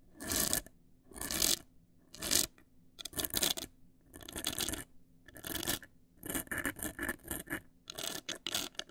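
Long acrylic nails scratch and tap the front face of a large, hollow black printed cardboard cosmetic box. Bright, rasping scratch bursts come in an irregular rhythm, separated by short quiet gaps with a faint low hum underneath.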